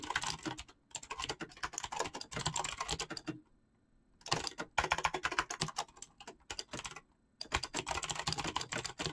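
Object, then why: Mechanical keyboard with PBT plastic keycaps. Fingertips type rapidly on a full-size backlit mechanical keyboard with PBT plastic keycaps, producing dense bursts of short, bright clicking keystrokes. The typing comes in three flurries separated by brief pauses of near silence, with each keystroke a crisp tap that dies away almost instantly.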